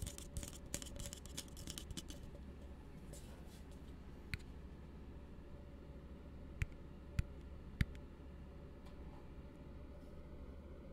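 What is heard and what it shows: An empty, hollow plastic cup held in the hand is tapped with fingertips while nails scratch across its base and walls. A dense burst of quick scratchy clicks fills the first couple of seconds, then thins to a soft rustle broken by a few sharp, isolated taps over a steady low hum.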